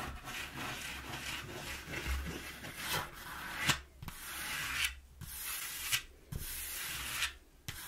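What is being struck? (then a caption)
Corrugated cardboard box. A palm and fingers rub briskly back and forth across the flat panel of a flattened brown corrugated cardboard box. The result is a dry, bright, scratchy hiss in repeated strokes, with brief quiet gaps and soft low thumps where the hand changes direction.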